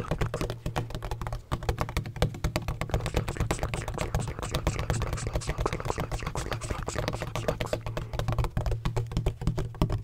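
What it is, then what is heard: Textured plastic ring-shaped bottle. Fingertips rapidly tap and scratch a large black, hollow, donut-shaped plastic bottle with a textured surface and a red cap. The dense, dry clicks and scrapes continue for about ten seconds. Each tap dies away almost at once, and a steady low resonance around 160 Hz sits under only faint brightness.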